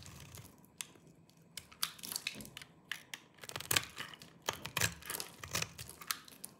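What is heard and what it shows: A small knife with a yellow-tan blade shaves and scrapes the surface of a hand-sized solid bar of dry green soap held in one hand, knocking crumbly flakes off. Many short, dry, crunchy scrapes and crackles follow one another in an uneven rhythm, bright and crisp with almost no low end and no ring after each stroke.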